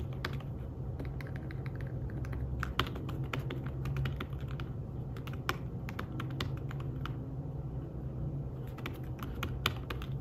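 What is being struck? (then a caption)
Fabric-covered tablet keyboard. Fingertips with short nails type on a thin, flat iPad Smart Keyboard-style folio keyboard with dark woven fabric-covered keys. Soft, quick, muffled taps come in a steady stream, with a few sharper clicks standing out, over a constant low hum.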